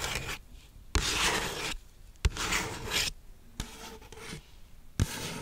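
Long nails scratch and rub the surface of a large, hollow McDonald's waxed-paper soda cup with a plastic lid and straw, held close to the mic. Bright, raspy scraping comes in separate bursts, each opening with a sharp tap, with quieter gaps between them.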